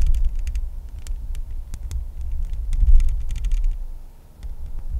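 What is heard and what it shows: Long nails tap rapidly on the bare, hollow metal mesh grille of a microphone, making a steady stream of deep, muffled thumps with faint, bright ticks over them. The low rumble swells briefly near the three-second mark and dips softer just past four seconds before the tapping picks up again.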